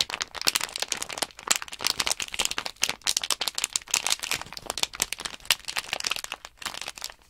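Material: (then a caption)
Plastic. A small sealed plastic Nanoblock package bag holding loose plastic blocks is flexed and crinkled in both hands, and the blocks rattle inside. A dense, continuous stream of short, sharp, bright crackles and clicks fills about seven seconds, with almost no low end and no ringing between bursts.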